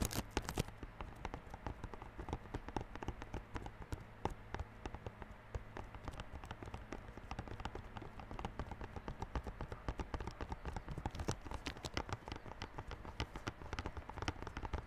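Fingertips tap rapidly on the clear plastic wrap over the front face of a small yellow cardboard Realme Buds Classic earphone box. The result is a steady stream of quick, dull taps with a low, hollow thump and a faint crinkly tick, each dying away almost instantly, continuing evenly throughout.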